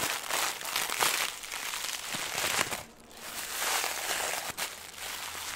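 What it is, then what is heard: Crinkly plastic film. A small ball of green crinkly plastic film is crushed and crumpled between the fingers. Dense, bright crinkling and crackling fills the clip, with a brief quieter lull near the three-second mark and a sharp snap shortly after.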